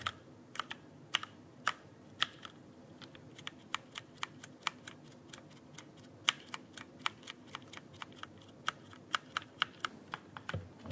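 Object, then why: Plastic mechanical keyboard keys. Fingertips press and tap the plastic keycaps of a full-size backlit mechanical keyboard held upright near the microphone. A steady run of about thirty-four short, bright, dry clicks comes at an uneven typing pace, some louder than others, each dying away almost instantly over a faint low hiss.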